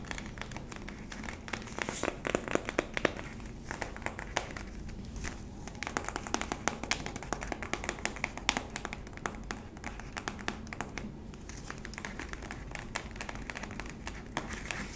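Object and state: Plastic tub with paper label.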